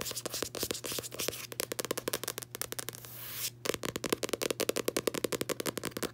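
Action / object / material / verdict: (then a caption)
tap / paperback book cover, card / card / none. Long nails and fingertips scratch and tap the matte card front cover of a closed, solid paperback copy of "Tuesdays with Morrie." Rapid, crisp tapping clicks alternate with dry scraping, including a brief continuous scratch in the middle, followed by a steady run of distinct, sharp taps with no ring.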